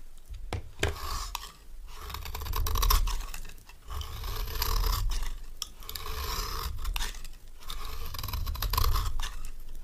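A solid, dry, orange stamped rectangular bar of soap is held in the hand and scraped with a metal knife. The scraping comes in repeated, uneven strokes with a crunchy, rasping texture: a dull low rumble under a bright scratchy hiss. Each stroke fades quickly.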